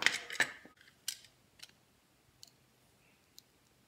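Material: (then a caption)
Soap. A utility knife blade shaves and slices the edges of a solid, palm-sized yellow Dettol soap bar held in the hand. A quick cluster of crisp, bright scraping cuts at the start is followed by sparser, sharper strokes that die away almost instantly, with quiet gaps in between.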